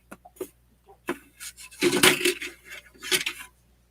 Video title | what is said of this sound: J's Saturday Jamboree | a little rattling sound you guys can hear when I shake this up